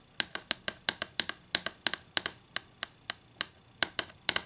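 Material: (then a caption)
Wood. Long green acrylic nails tap on a flat solid wooden ruler lying on a table, making 22 quick, dry, bright clicks at an uneven pace. Each tap is sharp and dies away almost instantly, with no low thud.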